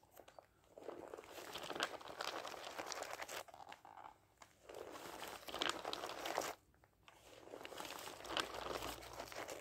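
A thick dictionary stands upright while its block of thin paper pages is fanned and riffled by hand. Three long, dense bursts of crisp, crinkling paper rustle are heard, bright and papery with almost no low end. Brief quiet gaps separate the bursts.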